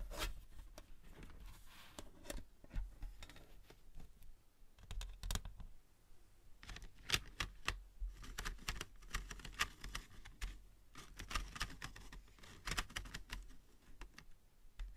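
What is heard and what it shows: Long white and green nails tap and click on the lid and rim of a flat, rectangular, hollow metal pencil tin holding a row of colored pencils; the tin starts closed and is then opened. Quick, dry, bright clicks come in irregular bursts, each dying away almost instantly, over a soft low rumble.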